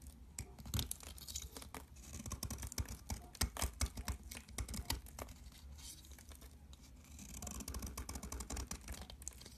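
A box cutter scrapes along the edge of a mint-green soap bar, shaving off crumbly flakes. The result is a steady run of dry, gritty scraping and crackling, with a low rumble underneath and bright, sharp ticks that swell and fade across the clip.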